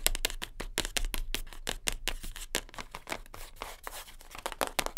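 Long nails tap rapidly on top of a closed, light-blue cardboard perfume gift box, which is flat and hollow, making a dense run of sharp, bright clicks with a dull hollow knock beneath them. Midway the tapping softens into scratchy rustling as the box is picked up. Then quick taps land on its back, each stopping short with almost no ring.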